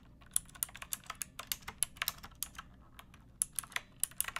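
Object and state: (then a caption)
Mechanical keyboard typing. Fingertips with long painted nails type on a pink plastic typewriter-style mechanical keyboard with round plastic keycaps. About 22 sharp, bright clicks and clacks land in an uneven rhythm, each dying away almost instantly over a faint low background hum.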